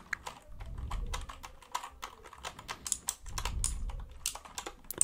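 Fingertips tap and scratch quickly across the plastic keycaps of a white plastic mechanical computer keyboard tilted toward the mic. Dense, bright clicks ride over soft, scratchy swells with a low rumble.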